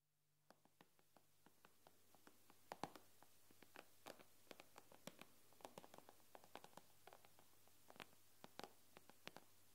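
Long manicured nails on both hands tap rapidly on the black glass touchscreen of a large, flat, thin iPad lying on a wooden table. About 33 short, sharp clicks ring out with almost no decay, some louder and brighter than others, over a faint low steady hum.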